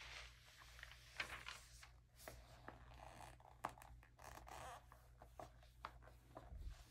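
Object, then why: Glossy paper magazine. A palm and fingertips rub across the pages of an open early 2000s glossy paper magazine, and a hand turns a page by its edge. Soft, dry brushing and papery rustles are broken by sharp, bright crackles and snaps as the pages flex. A low, steady hum sits quietly underneath.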